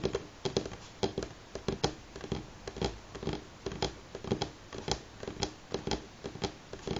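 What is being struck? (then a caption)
Pine wooden tabletop. Fingernails of both hands tap on a solid light pine tabletop, giving quick, dry clicks with a woody knock near 395 Hz that fade almost instantly. The taps come in loose, uneven bursts at roughly two per second over a faint background hiss.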